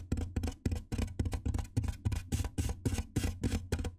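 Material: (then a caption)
Styrofoam. Fingertips and nails tap and scratch the top edge of a large white hollow styrofoam box. About sixteen quick, dull, hollow knocks with a low body land in a loose rhythm, each fading almost at once. Short, bright, scratchy rasps run between them.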